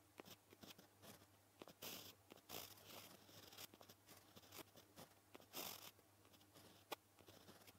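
A white gel pen tip scratches across a flat, solid black paper sheet while writing kanji and kana. Short, bright, dry scratching strokes come in uneven bursts with quick taps between, some strokes louder and longer, over a faint steady low hum.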